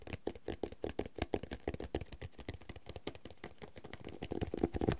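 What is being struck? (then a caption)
Cloth-bound hardcover notebook. Fingertips and nails rapidly tap and scratch the cloth cover of a red cloth-bound hardcover notebook with thick paper pages, held upright. The taps are soft, dull and muffled with a low, woody body and very little brightness, each dying away almost instantly. The tapping grows denser and slightly louder toward the end.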